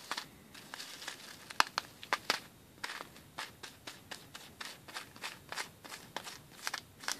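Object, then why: Plastic bag filled with plastic beads. Fingertips and nails scratch and rub across a clear plastic bag with a cardboard header, filled with white rice-shaped plastic pearl beads. The result is a steady run of short, bright crinkles and shifting-bead clicks at an uneven pace. A few sharper snaps stand out over a faint background hiss.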